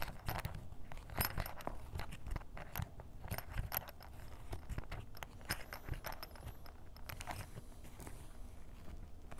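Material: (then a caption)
Canvas. A ballpoint pen tip is rapidly scratched over the surface of a grey canvas fanny pack held on a table, which sounds soft and hollow. The result is a dense run of short, dry scratching strokes with a low, muffled body and brief bright edges, packed too closely to count.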